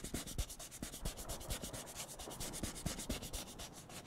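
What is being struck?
Disposable paper cup.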